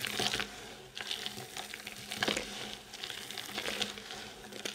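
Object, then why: Pile of soap shavings. A pile of solid dry soap shavings, chips and crumbs, is gathered and crushed between the palms and fingers, then rubbed and stirred by hand on a white surface. The result is a quiet, dense, bright crackling and crunching, rising in short gritty bursts over a steady soft rustle, with almost no low end.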